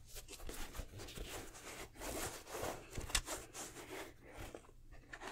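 Fingertips and nails rub, scratch and tap the upper and rubber sole of a black nubuck/suede sneaker with purple and red accents, held hollow and empty in both hands. The result is a steady, dry, bristly scratching with soft, short muffled taps woven through it, spread from low thuds to bright hiss, plus a faint low hum underneath.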